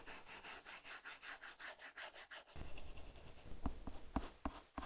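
A plastic stylus tip is dragged across an iPad's glass screen covered with a paper-like matte plastic film, held in the fingers and moving in drawing and coloring strokes. For the first two and a half seconds, quick back-and-forth strokes give a rhythmic, bright scratchy rub. After that comes a denser, lower rub punctuated by several sharp taps.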